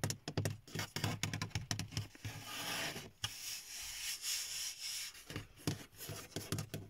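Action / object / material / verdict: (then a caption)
tap / hard plastic car dashboard / hard plastic / none. Fingertips and nails tap quickly on the top of a large, hollow car dashboard made of dark grey textured hard plastic, giving short, dull knocks with a low body. In the middle, the taps give way to a steady, hissy rubbing across the textured surface, then the tapping resumes.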